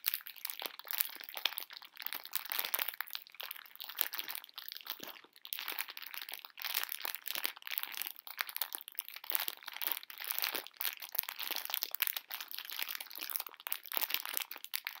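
A full pink plastic-film candy bag of conversation hearts is tilted and shaken so the hard candies slide inside while fingers crinkle the film. The result is a steady, dense stream of bright, crisp crackles and rustles with no low end, interrupted by brief pauses and the soft slide of candies shifting.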